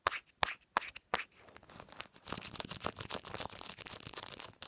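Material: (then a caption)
Plastic. Long nails tap a smartphone's patterned hard plastic case and flick its metal ring holder. Four sharp, bright clicks ring out spaced apart, then the tapping turns fast and dense, with crisp plasticky ticks and scratchy high metallic flicks. The sound is close and dry, with almost no ring after each hit.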